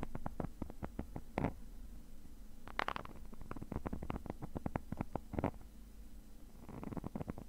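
A thin metal pick tip scratches the textured surface of a black woven nylon zippered case, which is padded and hollow. The result is a quick, dry run of short scraping ticks with a low hollow body, and a few longer, brighter rasps stand out among them.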